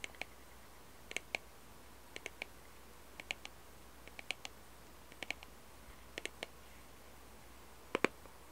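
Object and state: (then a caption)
Cardboard puzzle box tapped with fingernails. Long red-painted nails tap and scratch a small, hollow cardboard jigsaw puzzle box held close to the mic, on both its picture side and its barcode side. Short, dry, bright clicks land in small clusters of two to four, about once a second, and each one dies away almost instantly. A faint, steady low rumble sits underneath, and the last cluster is the loudest.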